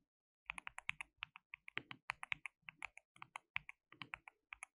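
Both hands type continuously with their fingertips on a compact white-cased mechanical keyboard with white and pink plastic keycaps, RGB backlight and a hollow case. After about half a second of silence, some 29 sharp, bright plastic clacks follow in quick, uneven succession. Each clack is dry and dies away almost instantly, with little low end.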